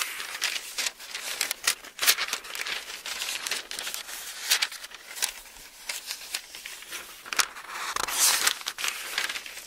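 A hardback-sized Bible with very thin printed pages is held open in both hands while fingertips grip and flip single pages over, rubbing the paper. The result is a steady stream of crisp, bright rustles and crinkles with short papery snaps as each page turns, with almost no low end.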